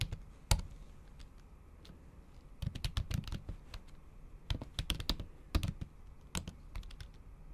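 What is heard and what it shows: Long acrylic nail tips tap on a MacBook Pro keyboard, its plastic keys covered by a thin pink patterned silicone cover. Short, quick clicks with a dull low thud and a bright tick come in uneven bursts separated by pauses, each tap dying away almost at once.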